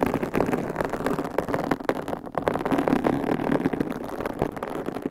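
Long pink coffin-shaped acrylic nails scratch and tap on large, soft, hollow white foam microphone covers fitted over the capsules on both sides. The result is a dense, continuous rustle of quick, muffled taps and scrapes, with warm mid-range energy and very little brightness.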